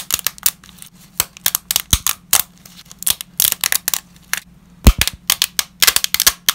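Gloved fingers break uncooked ridged lasagna sheets into small shards over a growing pile, making a rapid series of about thirty brittle, dry snaps and cracks. Each snap is bright and short with almost no ring, set against a faint steady low hum.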